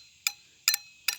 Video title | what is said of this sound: How To Make Fake Stone - [Part 2]. Adding Color | because it rings like that, you can hear it ring. That's when you know it's getting a good cure on it.